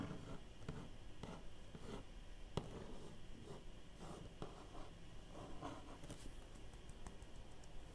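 Faint, papery scratching runs throughout, broken by light fingernail ticks that stop the moment they land with no ring. The dry, muffled character is typical of nails on cardboard. A small room adds a little closeness.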